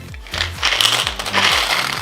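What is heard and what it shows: A plastic candy container with candies inside is shaken for a magic trick, sending the candies back out of a hidden bulb so it goes from empty-looking to full. The candies rattle and clatter against the plastic in bright, dense bursts over two seconds, with a faint low hum underneath.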